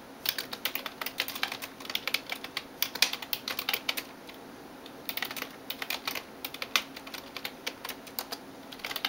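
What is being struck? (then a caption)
Plastic computer keyboard. A hand types on a backlit plastic computer keyboard with fingertips and nails, making rapid, bright, crisp clicking taps with almost no low end. The bursts of typing pause briefly near the middle, then resume in quick runs until the end.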